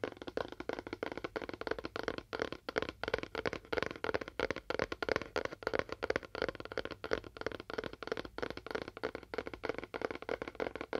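A fingernail taps rapidly and steadily on a cardboard box with a faux wood finish. It makes a dense run of short, dry clicks with almost no ring, centered around a hollow midrange near 490 Hz with little bass.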